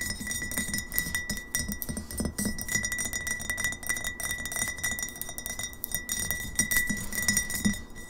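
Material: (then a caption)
Glass. A medium glass kombucha bottle, partly filled with liquid and held upright, is fast-tapped on its sides with long fingernails. It gives a rapid stream of light, bright clinks with short glassy rings over a soft low rumble.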